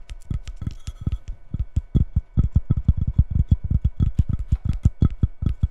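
Long red nails tap and scratch the cork back of a square, white-edged ceramic coaster lying face down on a wooden table. The result is a fast, uneven run of dull, low thuds with brief scratchy ticks between them.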